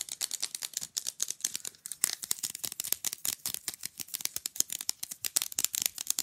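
Long glitter nails tap and scratch fast along the surface and edges of a small, rigid, flat, printed rectangular picture fridge magnet. The result is a rapid, continuous run of crisp, dry clicks and scrapes, bright and thin with almost no low end, each click cut off instantly with no ring.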